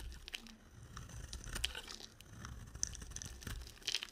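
A solid, dry soap bar with a yellow coating is shaved with a box cutter, curling off flakes. The blade makes a run of quiet, dry crinkling and scraping strokes with bright, sharp crackles near 3 kHz, over a soft low rumble.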